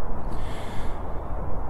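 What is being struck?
Nothing is struck.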